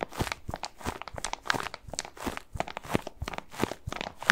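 Fingertips scratch and rub a medium-sized white bath tub pillow, soft and padded and covered in textured plastic mesh, close to the microphone. The result is a quick, irregular stream of dry, crunchy, crinkly scratches with short bright ticks and soft low thumps.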